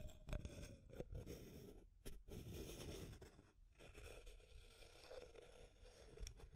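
Long nails scratch and tap along the wall of a small, clear, hollow plastic tube container with an aluminum screw lid and pink contents. The result is a soft, low-heavy run of scraping with crisp taps that stop short.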